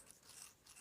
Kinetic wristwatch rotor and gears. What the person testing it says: that's the actual rotor, you know, turning on the inside